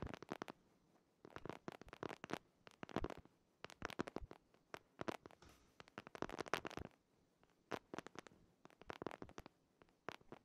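Fingertips and nails scratch and tap the printed cover of a purple patterned hardcover paper planner held upright behind the microphone. Quiet clusters of dry, crackly scratches and sharp taps come in bursts separated by short pauses, each stroke dying away almost instantly. The sound sits mostly in the midrange with bright, crisp edges.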